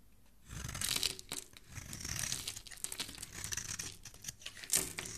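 A metal blade scrapes and shaves the surface of a hand-sized, solid rectangular bar of red soap embossed "ELOS," held in a hand with dark-painted nails, as flakes fall onto a wooden surface. After a brief quiet start, a run of dry, bright, crisp scraping and crinkly tearing sounds follows, with louder strokes near the beginning and end.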